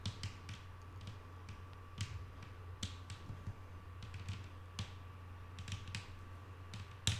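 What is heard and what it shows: Long painted nail tips tap a flat, solid wooden tabletop in a string of quick, separate, soft clicks with bright, short-ringing attacks. A steady low hum and a faint constant mid-pitched tone run underneath throughout.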